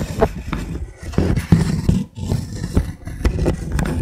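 A fingertip and fingernail tap the blocks of a wooden linked-block trivet, first held edge-on and then laid flat. The taps come as a run of soft, dull, low knocks with a pitch near 164 Hz and almost no high content. Each knock dies away quickly.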